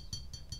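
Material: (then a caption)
Metal. Three light taps on the metal-looking ring at the top of a ceramic vase give short, bright "ting" tones, unlike the duller sound of the ceramic body. The metallic ring is what made the piece seem to be metal.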